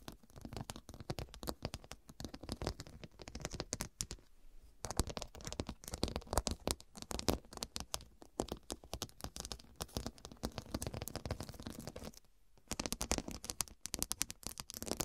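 Long dark nails tap and scratch across a fabric pillow covered in square faceted glass studs. The result is a dense run of quick, dry clicks and scratchy rasps with a bright edge and very little ring. There are brief quieter lulls around four to five seconds and again near twelve seconds.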